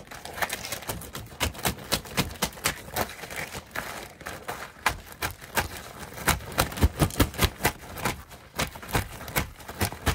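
A large, soft piece of purple fabric is held in both hands and rapidly rubbed, crumpled and flapped with the fingers. The result is a fast, steady stream of crisp rustles and sharp, bright snapping bursts over a soft, low swishing bed, with the flaps hitting louder in the second half.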